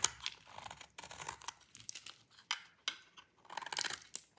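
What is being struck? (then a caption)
Bar of soap cut with a blade. A metal utility blade cuts through a solid bar of dry cream-white soap, and crumbly flakes fall off. Quiet, dry crunching and crackling comes in short bursts and scrapes, bright and crisp with almost no low end. Each burst stops sharply with no ring.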